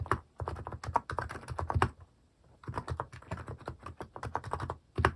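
A compact mechanical keyboard with a white plastic case and cat keycaps is typed on, one hand sweeping over the keys mid-stretch while the fingertips keep tapping. Bursts of quick, clacky keystrokes with a low thock pause briefly near the middle before the typing resumes.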